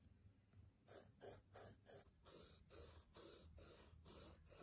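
A graphite pencil scratches and scribbles across the top sheet of a small, square, solid stack of brown kraft paper sticky notes resting on a table, while the other hand holds the pad. After a quiet start, quick back-and-forth strokes make a fast, uneven run of dry, bright scratching bursts with soft pauses between them.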